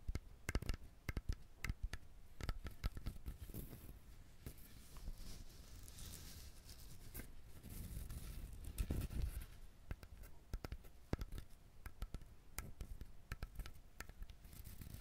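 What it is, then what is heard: Whole coconut shell. Fingernails tap and scratch the hard shell of a whole coconut, showing its three eyes, held close to the mic. Many quick, dull taps with sharp clicky edges come through, with softer scratching passages between them, and the sound stays quiet and low-heavy with a brief brighter scraping hiss in the middle.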